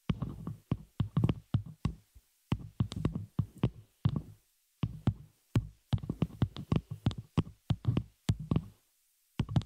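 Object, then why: Metal microphone shock mount. Long nails of both hands tap and scratch the hollow open frame of a small metal spider-cage shock mount holding a microphone. The result is rapid clusters of short, dull, bass-heavy thumps with faint bright scratchy edges, grouped into bursts separated by brief silences.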